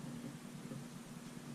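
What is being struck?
Nothing is struck.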